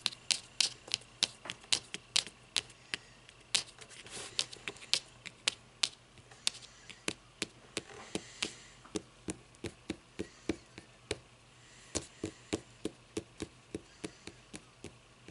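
Long nails tap and scratch the green board cover edge and spine of a closed hardcover book lying on its side. About 39 sharp, bright, dry taps ring out at an uneven pace, with a soft scratching rasp between some of them.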